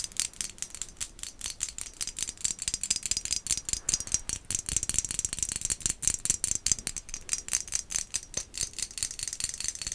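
A small, hollow, white glazed ceramic pumpkin decoration with black dots is held in the hand and tapped rapidly with long acrylic nails. The result is a stream of dozens of quick, irregular, bright clicking taps with almost no ring, sitting mostly in the high range with very little low end.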